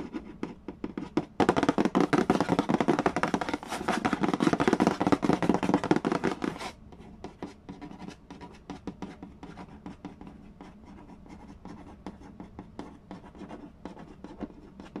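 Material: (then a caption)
Cardboard. Fingernails scratch and trace along the printed cardboard lid of a large, flat, hollow Mastermind board game box. A dense, loud burst of dry, rasping scratches runs for about five seconds, then gives way to quieter, rapid light scratches and taps for the rest of the clip.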